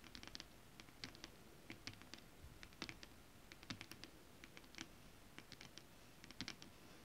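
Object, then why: Foil-printed stretch fabric tapped and scratched with long nails. Long decorated acrylic nails tap and scratch across a flat piece of shiny holographic foil-printed stretch fabric with a mermaid scale pattern. The result is a quiet, uneven series of crisp, bright ticks and scratchy brushes, each dying away almost instantly over a low, soft background hiss.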